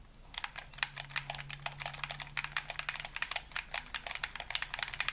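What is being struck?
Plastic game controller.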